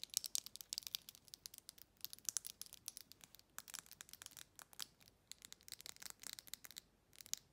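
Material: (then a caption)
Glass. Long red nails rapidly scratch and tap along the bumpy body of a faceted glass jar with a silver metal lid, held sideways. Dozens of quick, bright, crisp clicks and scratchy strokes, each dying almost instantly, fill the clip at a quiet level with almost no low end.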